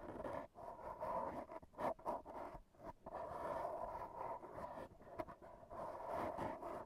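AA batteries worn on the fingertips tap and scratch a black foam windscreen on a handheld recorder. The result is a close, muffled rustling and scraping with dull taps and a few brief gaps, concentrated in a hollow midrange band around 600 Hz to 1 kHz with little deep bass.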